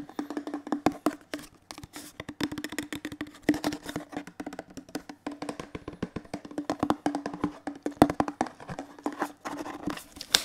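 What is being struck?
Plastic detergent bottle.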